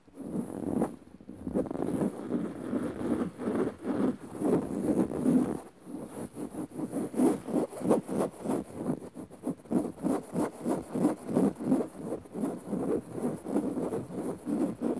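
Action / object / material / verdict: scrape / woven fabric sofa cushion / woven fabric / none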